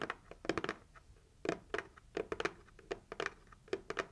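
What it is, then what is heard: Cardboard gift box tapped with fingernails. Long acrylic nails tap quickly on the lid of a closed, hollow, red heart-shaped cardboard gift box. The result is an irregular run of short, dry clicks with a hollow midrange knock, some in quick clusters with brief pauses between. Each tap dies away almost instantly.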